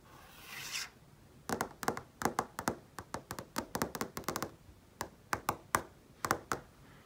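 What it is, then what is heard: Flat-screen TV tapped with fingernails. Long painted nails and fingertips rub and then tap on a large flat-panel TV screen. A soft brushing swish comes first, then a string of quick, dry, sharp clicks in irregular bursts. Each click is brief and bright, with almost no ring.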